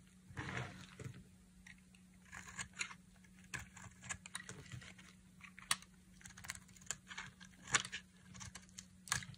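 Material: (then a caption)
Soap. A black utility knife blade shaves thin curls off a palm-sized, solid, dry pink soap bar held in one hand, with the shavings falling onto a pile of soap flakes below. The scraping comes as a series of short, dry, bright crackling scrapes and crunches with quiet gaps between them over a steady low hum.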